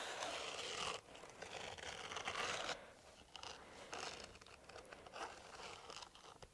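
A hollow, empty green silicone dishwashing glove with bristle nubs on the palm is held upright in one hand while the fingertips of the other hand rub and scratch it. Dense, bright scratchy scraping fills the first few seconds with a brief dip near the one-second mark. It then breaks into quieter, irregular bursts of rubbing that fade toward the end.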